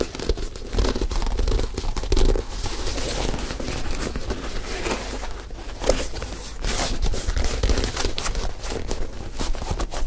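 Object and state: Leather sneaker scratched and tapped.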